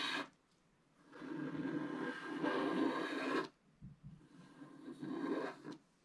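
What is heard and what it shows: A wooden stylus scrapes the black coating off a flat scratch-art paper card lying on a table, in short strokes. A brief scratch is followed by a long, steady rasping scrape, a short pause, then softer uneven scratches that build into another scrape before stopping. The sound is a dry, papery rasp centered in the low-mids, with a faint bright hiss.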